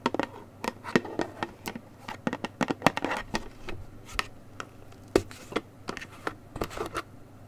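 Long nails tap and scratch the sides and orange plastic cap of a gable-top paperboard juice carton held close to the mic, while the carton is turned in the hands. The result is an irregular run of quick, dry, hollow taps and short scratchy rasps that die away at once, with a few louder clicks among softer ones over a quiet, low background.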